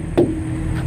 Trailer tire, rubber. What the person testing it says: Make sure you get a good ping out of the tire. You hear that? Yeah. You know, like a tight drum.